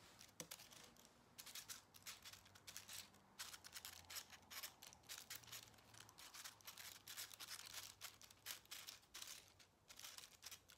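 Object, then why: Small aluminium foil ball. A small aluminium foil ball is scratched and crinkled with the fingernails, first while resting on a table and then while held between the fingers. Quiet, dense, bright crackling and scratching comes in rapid bursts with short pauses, over a faint low hum.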